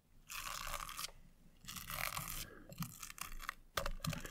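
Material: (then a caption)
Stone. A thin tool and long grey nails scratch and tap across the bumpy lid of a small, square, hollow Revolution Pro eyeshadow palette compact held in one hand, its lid covered with turquoise chip stones and clear rhinestones on a gold base. Long, bright, crunchy scraping bursts give way to quicker rasping strokes and a few sharp taps near the end.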